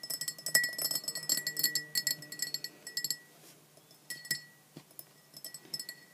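Long black-painted nails tap a clear glass measuring jug with a printed scale, partly filled with red liquid. Quick, irregular, bright clinks ring briefly near 2 kHz, dense for the first three seconds, then thinning to sparser, softer taps.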